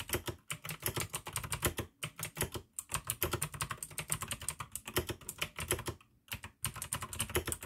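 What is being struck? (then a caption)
Plastic mechanical keyboard. Fast typing with the fingertips of both hands on a full-size pink AUKEY mechanical keyboard with plastic keycaps, RGB backlight and clicky blue switches, resting on a desk by candlelight. A rapid stream of short, crisp clicks with bright highs and a low thock underneath runs throughout, broken by brief pauses near 2 seconds and around 6 seconds.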